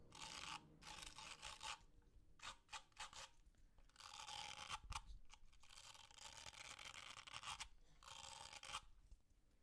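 A small purple, blue and green plastic fidget cube is held in the hands close to the mic while fingernails rub and scratch its ridged parts and turn its dials. Long bursts of bright, raspy scratching alternate with short clicky ticks and brief quiet gaps.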